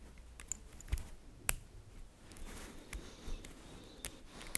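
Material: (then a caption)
Metal. Fingers with long nails pull apart small, solid, green-coated magnetic metal balls arranged in a bracelet shape and let them snap back together. Several sharp, bright clicks and ticks stand out over a quiet, low rumbling background, with faint shuffling between them. Each click cuts off almost instantly.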